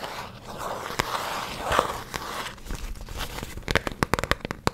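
A small printed cardboard box of cotton, hollow and likely full of cotton, is held in both hands and scratched and tapped with long fingernails. A soft crinkly scratching with a few sharp taps gives way to a quick run of crisp, dry, short taps near the end.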